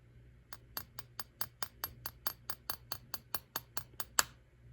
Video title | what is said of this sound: Temu Haul! Don't be Chicken! | as I tap it, you'll hear a click